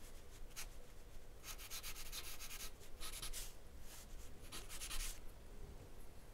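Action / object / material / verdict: scrape / charcoal pencil on drawing paper / charcoal, paper / none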